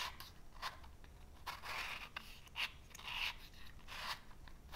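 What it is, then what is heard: Cardboard matchbox. Fingernails scratch the purple striker side of a small cardboard matchbox, and the box's drawer is slid open to show a full load of wooden matches. The result is a quiet series of short, dry, bright scraping strokes, each centered around 2.7 kHz, with a faint low rumble underneath.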